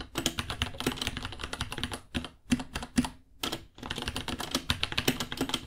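Both hands type with their fingertips on a small white 66-key mechanical keyboard with Gateron Brown switches, white plastic keycaps, a hollow case and pink underglow, resting on a white desk. Quick, sharp plastic key taps come in dense bursts with a hollow, low-mid clack and bright clicky tops. The typing breaks into short pauses at about 2 and 3.5 seconds before resuming.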